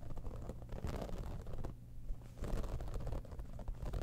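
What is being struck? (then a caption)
Textured faux-leather cosmetic bag. Long fingernails on both hands scratch and tap across the top of a hollow, embossed holographic textured faux-leather cosmetic bag. The result is a dense, quiet run of low, rumbling scratches and soft patters that briefly fades near the middle before picking back up.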